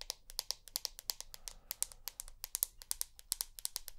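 Long nails tap rapidly on the glass back of a rose gold iPhone held close to the ear, making about 32 quick, bright clicks over four seconds. Each tap is sharp and dry, dying away almost instantly, with a faint low background hum beneath.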